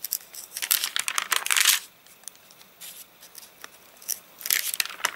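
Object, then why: Paper catalogue pages. A hand lifts, turns and crushes the stiff, rain-dried pages of an open paper catalogue. Bright, papery crackling and crinkling comes in dense bursts for the first two seconds, then thins to faint scattered ticks before a final burst of crackles near the end. The sound has almost no low end and no ring.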